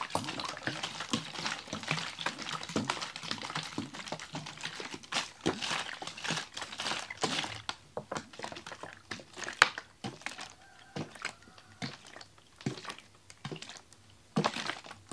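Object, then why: Plastic water bottle with ice and water. A large clear plastic water bottle with a red cap, holding frozen, icy water, is held in one hand and shaken. Dense crinkling plastic and sloshing ice-water clatter with bright, short knocks fill the first half. It then thins to sparser, isolated thunks and rattles with quiet gaps.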